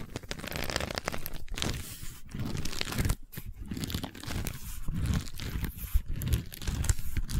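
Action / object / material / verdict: scrape / woven wicker tube / wicker / none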